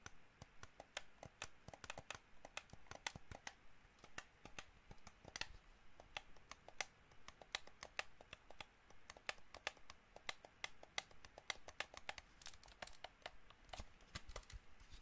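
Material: Plastic.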